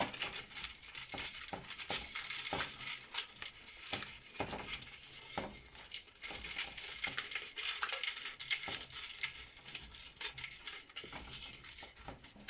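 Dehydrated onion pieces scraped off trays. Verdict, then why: Dry. Dry, crispy dehydrated onion pieces are scraped off drying trays, making a dense, bright, crackling rattle with quick clinks throughout. The onions are fully dried and ready.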